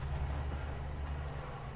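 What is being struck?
Nothing is struck.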